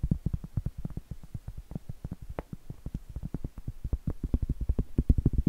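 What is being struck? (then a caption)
Round cork board. Long acrylic nails tap and scratch a large, solid, round cork board, a trivet or coaster held up in the air. About 39 quick, irregular taps land as soft, dull, low thuds with almost no ring, mixed with faint scratchy rustles.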